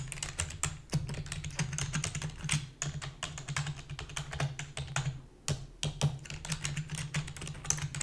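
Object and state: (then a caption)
Plastic computer keyboard. Rapid typing with long fingernails and fingertips on a full-size black plastic keyboard with a hollow body. The result is a dense, continuous stream of quick, bright clicks and clacks. Each tap has a short hollow low thump beneath it.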